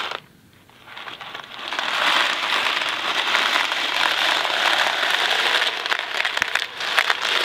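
A small Kraft macaroni and cheese cardboard box filled with dry pasta is held in both hands, tapped with the fingertips and rubbed. After a brief quiet start, a steady, dense crackling and rustling rattle builds up, concentrated in the mid-to-bright range. Faint sharper clicks stand out near the end.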